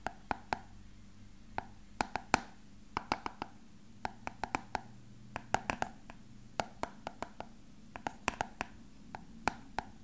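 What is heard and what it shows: A small, hollow, frosted translucent plastic box with a printed label, apparently empty, is held up close and tapped with fingertips and nails. The result is an irregular run of quick, dry, hollow clicks and knocks centred around 800 Hz, with sharp bright edges that die away almost at once. A faint low hum sits underneath.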